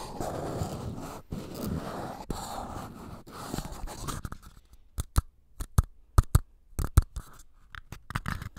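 One small empty paper cup, then two identical ones, are scratched and tapped with fingernails and fingertips. A dense, continuous scratchy rustle fills the first half, then gives way to sharp, separate dry taps with short gaps of silence between them. The sound is close and soft, with most of its weight in a low, hollow thud.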